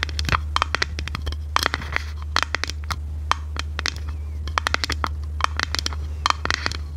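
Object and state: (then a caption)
Clear plastic compartment box tapped with nails. A small, hollow, clear plastic organizer box with compartments and a white lid is held in the hands and tapped and scratched with long red nails. Quick, sharp clicks with a hollow plastic ring around 1.2 kHz and bright edges are interspersed with soft scraping. A steady low hum runs underneath throughout.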